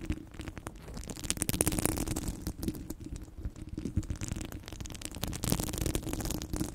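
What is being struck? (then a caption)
Steel mesh microphone grille. Long blue nails scratch and tap across the grille of a hollow steel mesh microphone head. The result is a dense, continuous run of rapid scraping and clicking with a boomy, rumbling low end, a steady resonant tone around 320 Hz, and short, dry, bright ticks that swell louder in the middle and near the end.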